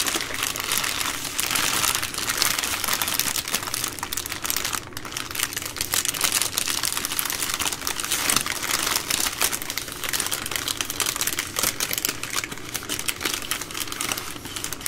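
Hands squeeze a full three-pack of baby wipes in its plastic overwrap while fingernails scratch the crinkly plastic film. Dense, bright crinkling and scratching runs steadily for about fifteen seconds, with short sharp crackles and little low end.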